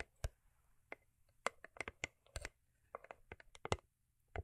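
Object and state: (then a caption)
Cardboard gift box tapped with nails. A small hollow cube gift box made of cardboard covered in holographic paper is tapped on its top and sides with long acrylic nails and fingertips. Sixteen quick, dry, bright clicks and light taps come in uneven bursts, each dying away almost instantly over a low, quiet background hum.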